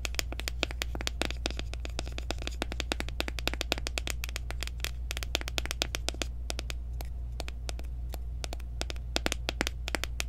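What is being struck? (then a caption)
Plastic powder jar. Long nails tap quickly around the rim and sides of a small, round, clear plastic jar of loose setting powder, which is open with its sifter showing and filled with powder. The result is a dense stream of sharp, clicky plastic taps that stop almost instantly, over a steady low hum.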